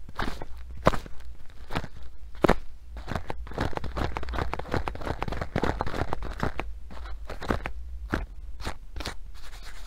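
Long nails scratch across the black velcro strap and blue nylon fabric of a filled sandbag, making dense, crunchy, crackling scrapes. Many sharp, bright bursts rise above a steady low rumble throughout.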